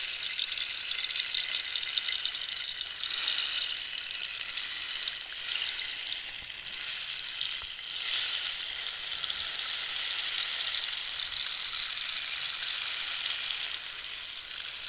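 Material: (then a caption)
Cactus wood. Long nails scratch along the holey, ridged surface of a long, hollow, dried cactus wood rainstick. The result is a steady, bright, high-pitched rasping hiss with almost no low end, gently swelling and easing over the fifteen seconds.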